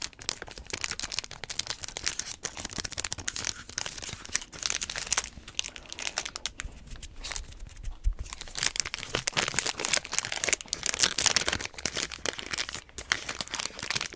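A small metallic-foil energy bar wrapper, partly torn open and held in both hands, is crinkled and torn by fingertips, some of them taped. Dense, bright crinkling and crackling fill the whole clip, mostly high-frequency, with sharp tearing bursts throughout.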